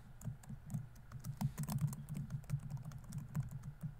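Fingertips type fast on a laptop keyboard with plastic keys, producing a steady run of quick, soft clicks. Each keystroke is a short, dull tap with a low body around 145 Hz and a faint bright tick on top. The clicks fade almost instantly with no ring.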